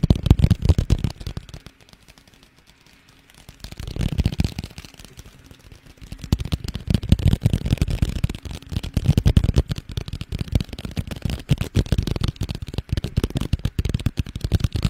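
Fingertips tap and scratch rapidly along a small, hollow red paperboard box with white Chinese lettering, held close to the microphone. The result is a dense run of dull, low, hollow thuds and soft scraping, with brief quieter pauses near the two- and five-second marks.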